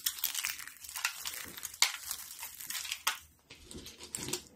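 Thin, brittle stacks and flakes of dry yellow soap sheets in a foil tray are crushed between palms and fingers with pink nails. Dense, bright crinkling and crunching crackles continue throughout, with a few sharper snaps standing out and a brief quieter gap near the end.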